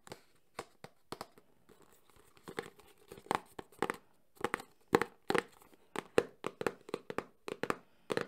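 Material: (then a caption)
Cardboard. A small, closed, printed cardboard Samsung phone box is held in one hand and quickly tapped and scratched with the fingertips and nails of the other hand. The result is a fast, uneven series of dry, crisp taps with a hollow midrange tone, mixed with faint papery scratching and brief bright edges.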